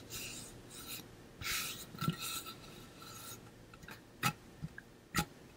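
A pink-blue ombre painted metal water bottle, hollow with a metal base, held up and scratched and tapped with fingernails. Bright raspy scratching strokes come first, followed by several sharp, short taps with a hollow metallic knock.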